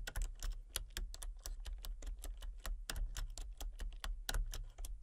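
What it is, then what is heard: Plastic computer keyboard being typed on. Rapid typing with fingertips and long painted nails on a full-size backlit plastic RGB computer keyboard with hollow key switches and colour-cycling lights. The sound is a fast, uneven stream of short, bright, clacky key taps that die away almost at once, over a steady low hum.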